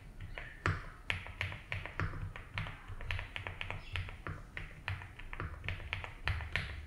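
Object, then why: Mechanical keyboard with plastic ABS keycaps. Both hands type steadily with their fingertips on a compact 75% mechanical keyboard with a blue case and white and blue ABS keycaps. Each press lands as a short, dry clack with a low thock underneath and a bright click on top, dying away almost at once. The keystrokes come in an unhurried, even run across the whole clip.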